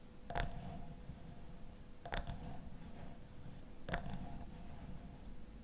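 A glass honey bottle with a black lid is tapped three times, each tap giving a short, bright glassy clink with a faint ring near 690 Hz over a low background hum. The tone decays quickly between the spaced-out taps.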